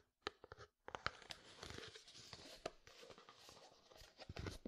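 A medium frosted plastic jar with white contents is tapped with fingertips and nails on its side and lid. Quiet, dry clicks and knocks with bright edges mix with a soft, continuous scratchy rustle, and each tap dies away almost instantly with no ring.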